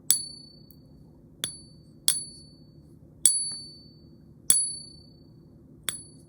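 A Scottsdale silver bullion round, held in a pocket pinger, is tapped six times, each tap giving a bright, high-pitched ring that fades quickly. The clear ring marks it as genuine silver.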